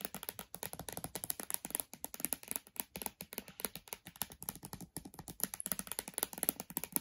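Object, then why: Laptop glass screen. Long dark nails tap rapidly on the glossy glass display of a switched-off MacBook Air. The result is a steady stream of short, crisp clicks with bright high-frequency ticks and almost no ring after each tap.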